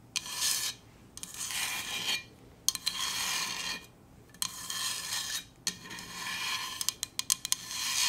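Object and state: Stainless steel insulated bottle.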